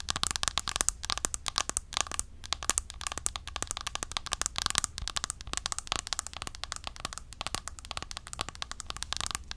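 A round, flat, palm-sized Essence bronzer compact with a clear plastic lid is held up and tapped quickly with long acrylic nails. The result is a dense, continuous stream of sharp, bright plastic clicks with almost no ring, over a faint steady low hum.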